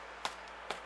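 Two light flicks on a baked potato cheese scone give short, hollow taps, checking that it is baked through. The hollow sound shows the scone is done.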